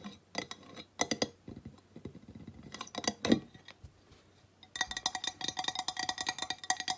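A flat, square, solid glazed ceramic tile plaque reading "Welcome to the Mountains!" is held in one hand and tapped with long nails. Sharp, bright, glassy clicks come in scattered bursts, then turn into a fast, steady run of tapping with a hard, ringing clink in the last few seconds.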